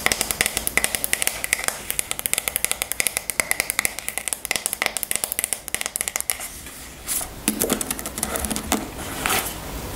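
Long nails tap rapidly on the wooden back of a striped wooden paddle hairbrush, making dozens of crisp, short, bright clicks with a faint ring around 2 kHz. After about six seconds the tapping stops, and softer scraping and rustling follow as the brush is turned over to show its wooden pin bristles.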